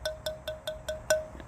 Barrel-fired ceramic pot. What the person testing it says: we can flick it and you can hear it didn't quite get that ring that we're looking for